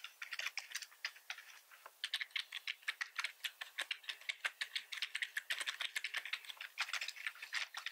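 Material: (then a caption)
Plastic. Fingertips of both hands type continuously on a black plastic computer keyboard. The result is a fast, uneven stream of short, dry, clicky keystrokes, bright and centered around 2 kHz, with almost no low end. Each click dies away almost instantly.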